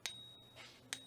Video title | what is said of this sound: 1st American Reserve - First Freedom Financial Seminar | we do things like ring tests where you hear what silver sounds like